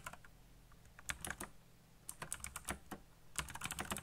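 Fingertips type fast on a black backlit mechanical computer keyboard with plastic keycaps, giving bursts of sharp, bright clacks with very short decay. The keystrokes come in three quick clusters separated by brief pauses, over a faint low hum.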